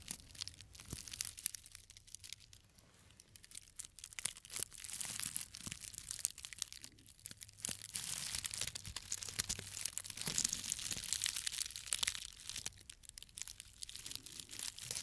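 A small tied bundle of thin, green dried grass stems is held in the hand and slowly squeezed and rubbed with the fingertips. It gives off a quiet, steady stream of dry, crisp crinkling and crackling, almost all bright and high with very little low end. The crinkling swells and eases in intensity over the clip, with a faint low hum underneath.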